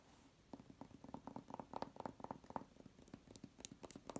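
Long red-painted nails scratch and tap quickly across a flat wall covered in embossed, patterned vinyl wallpaper. The result is a rapid, uneven series of short, dry clicks with a mid-pitched tone, mixed with faint bright scratchy rasps. The taps are quiet and stop instantly with no ring.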